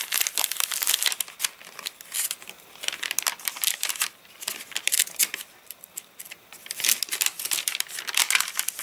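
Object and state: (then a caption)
Rain-dried paper catalogue, stiff crinkly pages. Fingertips rub, flex and crinkle the thin, wavy, stiff rain-dried pages of an open paper catalogue lying flat on a surface. The result is dense, bright, papery crackling in uneven bursts with almost no low end, easing into softer rustling around the middle before building again toward the end.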